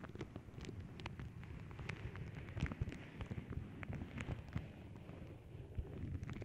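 Long nails scratch and tap across a flat paw-print tissue paper sheet, making a continuous low, rumbling papery rustle. Many quick, bright ticks and soft taps poke through the muffled crinkling at an even, steady level.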